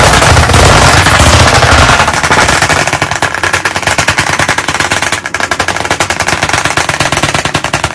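Chalk sticks held in both hands tap rapidly against the surface of a large black chalkboard in a wooden frame. A dense, rolling blur of hard clicks with a low thump fills the first two seconds, then separates into fast, sharp, bright taps that rattle on steadily like rapid fire.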